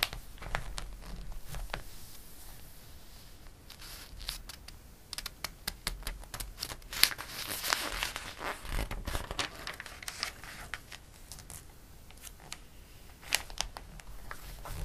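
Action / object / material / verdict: scrape / glossy paper catalog pages / glossy paper / none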